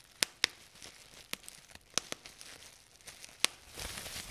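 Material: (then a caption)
Plastic. Fingers squeeze a sheet of clear plastic bubble wrap, partly gathered and held up, popping its air bubbles. Six sharp, bright pops stand out among softer clicks and crinkling, with a broader crackly rustle toward the end.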